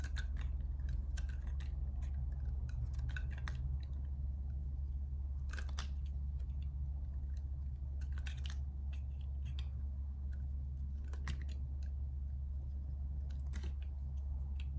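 A metal utility-knife blade shaves curls off a solid, hand-sized bar of light-blue soap with embossed lettering as it is held and carved. Short, crisp scraping and crunching strokes come in irregular bursts over a steady low hum.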